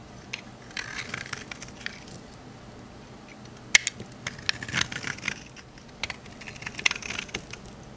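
A rectangular solid green olive-oil bar soap, held in hand, has its surface shaved with a metal knife blade into crunchy curls. Bright, dry crunching and crackling scrapes come in short bursts with sharp clicks, and quiet gaps between the strokes. The blade peels the soap into crisp curls.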